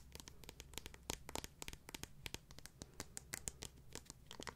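A transparent acrylic or plastic high-heel sandal with a clear heel and sole is held in the hands and tapped and scratched with long nails. The result is a quick run of sharp, bright clicks with very short ring, layered over soft scratchy rustling and a low background hum.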